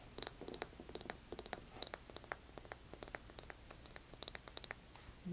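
Fingernails scratch along the worn beige rubber sole of a heeled sandal held upside down. A quick, irregular run of short, dry scratching ticks with bright edges plays over a low steady hum. It ends in a louder, sustained rustle.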